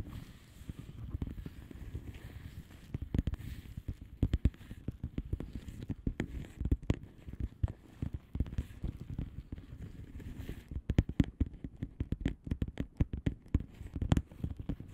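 Long polished nails of both hands tap and scratch the bubbles on the plastic bubble-wrap surface of a flat padded envelope. The taps are short, dull, low thuds with almost no ring, mixed with soft scratching. They come in a steady, irregular patter that grows into denser, louder bursts toward the end.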